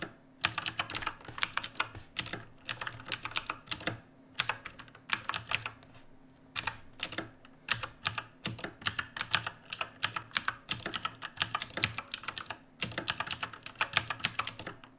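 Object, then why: Mechanical keyboard with plastic keycaps. A black RGB mechanical keyboard with plastic keycaps rests on a wooden desk while both hands type on it with fingertips. Bursts of sharp, bright clicks with almost no ring come in quick runs, separated by short pauses.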